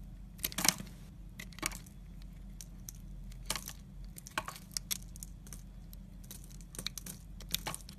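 A yellow utility knife blade carves and shaves thin layers off the end of a solid blue Lux soap bar held in the fingers. It makes short, crisp, bright scraping and crackling cuts, scattered irregularly across the clip over a steady low hum.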